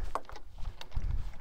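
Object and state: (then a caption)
Water sloshing in plastic bottles. Plastic water bottles carried while walking on a hike slosh close by in a low, muffled rhythm, with a few soft thuds and brief higher splashy bursts. The sloshing is a normal sound of water moving in the bottles.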